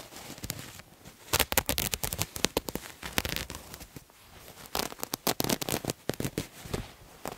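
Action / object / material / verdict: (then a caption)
scrape / cotton terry cloth towel / cotton terry / none. A multicolored striped terry cloth towel, held upright, is scratched with fingernails. Rapid, dry, crackly scratching bursts with a bright, hissy edge come in two busy runs, separated by a quieter, softer rustle in the middle.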